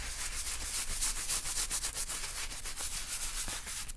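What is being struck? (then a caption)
Leather wallet. A gloved hand holds an open black leather bifold wallet while a wooden-handled bristle brush scrubs its inside surface to clean it. The result is a continuous, bright, scratchy rubbing made of quick, uneven brush strokes with a faint low rumble underneath.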